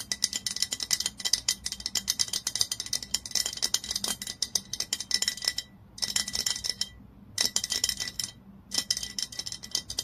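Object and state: Glass bottle tapped with fingernails.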